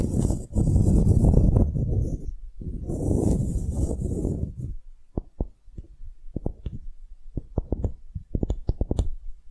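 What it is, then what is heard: Wooden block. Long glittery nails scratch along a small, solid, light-wood block engraved "relax," with a string loop through a hole, held in both hands. The first half is a dense, low, rustling scrape with a brief pause in the middle. It then gives way to short, dry, irregular taps on the wood that fade quickly.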